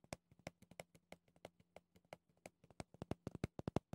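Red-painted nails scratch and tap the rough pumice top and clear plastic edge of a small round pumice stone brush with a clear plastic bristle base. About 22 quick, dry clicks land in an uneven rhythm, each dying away almost at once, with a faint low hum underneath. The taps grow louder and closer together toward the end.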